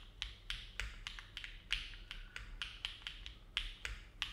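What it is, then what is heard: Mechanical keyboard with metal plate, typing. A compact silver-cased mechanical keyboard with an aluminum plate and dark plastic keycaps, resting on a desk mat, is typed on steadily with the fingertips of both hands. About 15 distinct key presses are heard, each a short, bright clack centred around 3.3 kHz that dies away quickly over a faint low background hum.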